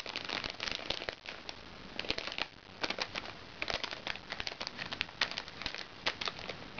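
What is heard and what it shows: Fingernails scratch and tap the surface of a small, crinkly recycled plastic makeup bag. The result is a steady bed of bright crinkling and crackling, broken by sharp, short ticks that die away almost instantly, with very little low end.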